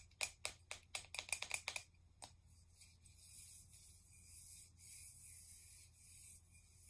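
A tall, hollow pink plastic cosmetic setting-spray bottle with a cap is held in both hands and tapped and rubbed along its sides with fingertips and nails. About eleven quick, bright, clicky taps come in the first two seconds, with a ringing tone near 2.4 kHz. They are followed by soft, airy scratching and rubbing across the surface.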